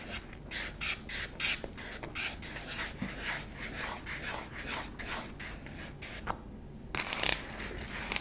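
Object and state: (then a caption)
Plastic jar scratched. Long pink-tipped nails scratch the flat bottom of a small, hollow yellow and white plastic jar lying on its side. The result is a string of quick, bright, raspy strokes with a hollow plastic edge, then a short pause before a few louder scrapes near the end.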